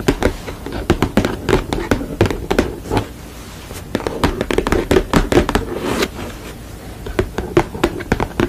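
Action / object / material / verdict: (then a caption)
tap / painted canvas panel tapped with fingernails / canvas / none. Long nails tap rapidly on a sugar-skull painted canvas panel and scratch across its surface. Crisp, short clicks with a hollow body tone around 340 Hz come in quick bursts, with quieter stretches of scratching in between.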